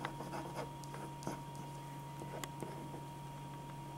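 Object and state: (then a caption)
Pen nib scratching on drawing paper. A black metal-tipped pen scratches sketch lines across a single thin white sheet of drawing paper lying flat on a dark board, while the other hand holds the sheet. Soft, dry scratching strokes come in short bursts over a steady low hum and a thin constant tone.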